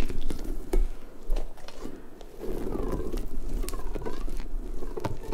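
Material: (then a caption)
Rubber. A large, hollow, pink, stretchy rubber puffer ball with soft spikes is squeezed and stretched with long nails and fingertips, which scratch through the spikes. The result is a close, continuous run of low, squishy rubbery rubbing and soft scratchy patter, with faint, bending rubber squeaks rising and falling in the middle.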